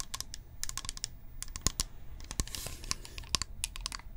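Long painted nails tap a hollow, apparently filled blue-and-white plastic toner bottle with a white cap held in the hand. The result is a quick, irregular run of crisp, bright clicky taps that stop dead, over a faint low hum.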